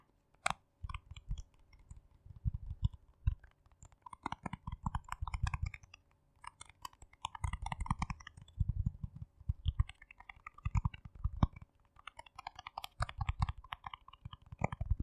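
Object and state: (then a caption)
Plastic jar being tapped and scratched. Fingernails tap and scratch the lid and rim of a small, round, hollow yellow plastic jar with a lid and a white label, held close to the microphone. Bursts of rapid, dry clicking taps alternate with scratchy bright rustles over a soft, hollow low thump. Each tap dies away almost instantly.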